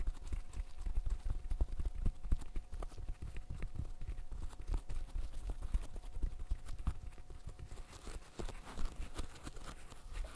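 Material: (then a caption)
Silicone. A green silicone pop-it fidget toy has its bubbles popped rapidly by fingertips in net gloves. The result is a fast, uneven stream of soft, dull, low pops, about four per second, each dying away almost instantly.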